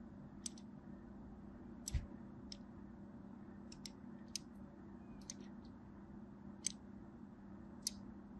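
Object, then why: Striped bar of soap scored with a small blade. A small black blade scores dense lines into the surface of a solid purple and white striped bar of soap held in the hand. Sharp, bright, dry clicks and scrapes come at irregular intervals over a steady low hum. Each one ends almost instantly.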